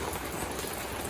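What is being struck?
Nothing is struck.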